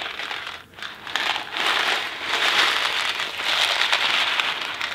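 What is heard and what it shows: A small Kraft macaroni and cheese cardboard box filled with dry pasta is tapped on its side with fingertips and handled in both hands. It makes a dense, bright rattling and crinkling with little low end. The sound briefly drops out near the start, then builds into a steady, gritty shuffle of pasta inside the box.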